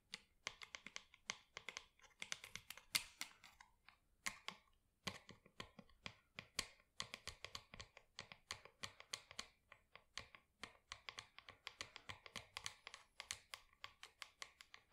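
Long acrylic nails tap and scratch the outer wall of a small matte black plastic plant pot holding an artificial plant, which is held in the hands. The result is a quick, steady stream of quiet, crisp, bright clicks with very short ring and little low end, broken by a brief lull near the four-second mark.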